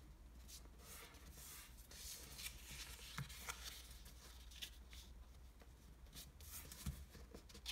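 Fingertips fold a single pink square of origami paper on a table and rub along its creases. Soft, bright papery crinkles and scratchy rubs come in short bursts, with a few sharper crackles. A steady low hum sits underneath.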